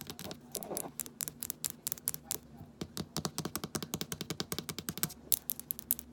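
Long nails tap rapidly on a small amber glass rosehip oil bottle with a paper label and a black plastic dropper cap, hitting both the labeled glass body and the dropper cap while the bottle is held. The result is a quick, uneven patter of dozens of short, bright clicks with almost no ring, over a faint low hum, with a brief scratchy rustle near the start.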